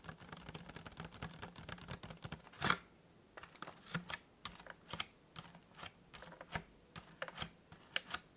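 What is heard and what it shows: Fingertips and nails tap and scratch the top and edges of a small, hollow, white printed cardboard tea gift box with a folded petal-style top. The result is a run of quick, dry, bright clicks and papery scratches with a low hum underneath. One louder tap lands near the three-second mark, followed by sparser, separated taps.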